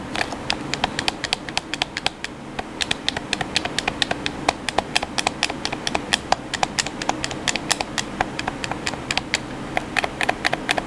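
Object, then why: Plastic game controller buttons. Fingertips rapidly tap the buttons of a hollow black plastic PS4 controller. The result is a quick, uneven stream of short, dry, bright clicks that stop almost instantly, over a faint steady hiss.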